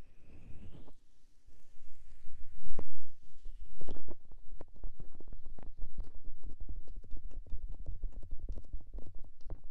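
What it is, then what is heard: Silicone ear of a binaural microphone. Fingers with dark painted nails tap, rub and cup the small, soft white silicone ear on the side of a white SR3D binaural microphone box. At first there is a muffled, boomy rubbing and a few heavy, deep thumps. After about four seconds it turns into a fast, uneven run of dull, bassy taps with short crackly clicks on top.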